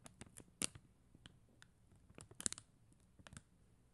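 Long acrylic nails tap and scratch the gems on a flat sheet of plastic rhinestone stickers on white backing. The sound is a quiet, irregular series of short, bright clicks and scratchy ticks that stop dead, with no ringing.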